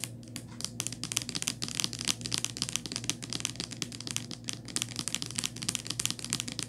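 Long nails tap and scratch a small white Crest plastic mouthwash bottle with a paper label, making a dense run of quick, bright clicks and dry scratching strokes. A steady low hum sits underneath.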